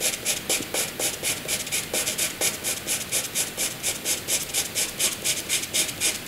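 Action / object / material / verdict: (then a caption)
scrape / wooden graphite pencil on paper / graphite / none. A wooden graphite pencil hatches light strokes on white paper, its tip scratching the surface. About 26 quick, bright, papery scrapes repeat at a steady rhythm of roughly two per second, each a short, hissy rasp concentrated in the high range with almost no low end.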